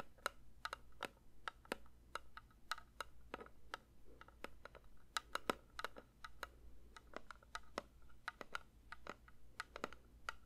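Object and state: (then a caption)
Metal candle tin. A metal candle tin is lightly tapped with the fingers in a quick, irregular series of soft taps. Each tap is a short, dry click with a faint metallic tone around 1.3 kHz that dies away almost at once, over a steady low hum.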